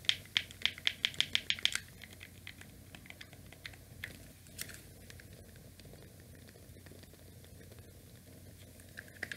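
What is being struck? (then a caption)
Plastic game controller. Fingertips tap and press the buttons and D-pad of a small, hollow grey plastic NES controller with a cable attached. A quick run of sharp, bright plastic clicks fills the first two seconds, centred around 3 kHz. Softer, scattered clicks and light rattles follow over a low steady hum, with a few louder clicks returning at the very end.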